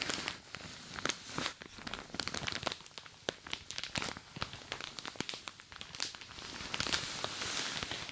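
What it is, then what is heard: Plastic shower cap crinkling. A light green plastic shower cap pulled over the ears of a dummy head is gripped and rubbed with fingertips and long dark nails. The thin plastic gives dense, bright crinkling and scratching with many sharp crackles throughout, and very little low end.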